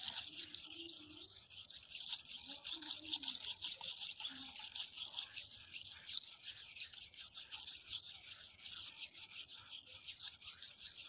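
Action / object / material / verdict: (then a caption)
scrape / steel knife on a sharpening stone / stone / none. A steel kitchen knife with a teal handle is scraped and slid repeatedly across a wet, flat, rectangular red sharpening stone with pale speckles lying on concrete. The strokes make a steady, bright, hissing scratch that runs on continuously with rhythmic rasping pulses and faint low tones underneath.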